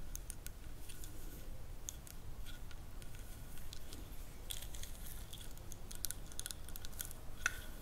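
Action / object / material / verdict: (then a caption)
scrape / wooden massage stick with carved ridges / wood / none. A small, light-colored, solid ridged wooden massage stick is held in both hands and scratched along its carved ridges with long acrylic nails. The result is a quiet, steady run of sharp, dry clicks and scrapes with bright, crisp edges, over a low, soft background rumble.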